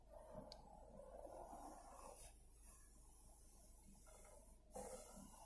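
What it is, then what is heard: Textured plastic car dashboard. Long painted fingernails scratch, rub and tap across the passenger-side dashboard of a Toyota RAV4, a large hollow molded panel of black grained plastic. A soft, steady scratchy rustle in the low-mids is broken by two slightly louder taps near the start and end.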